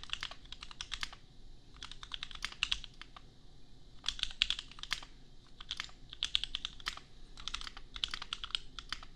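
A custom 60% mechanical keyboard worth $250, with Gateron Milky Yellow switches and red and white plastic keycaps, sits on an anime desk mat and is typed on with the bare fingertips of both hands. Quick runs of bright, dry, clacky keystrokes come in several bursts separated by short pauses, each stroke stopping sharply with no ring.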